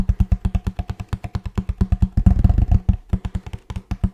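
Fingertips and nails tap a hollow kraft cardboard box with a blue band as it is turned in the hands, giving about thirty quick, deep, hollow thuds. The taps come in an uneven rhythm, with a brief flurry of faster, denser tapping in the middle. Each tap dies away almost at once.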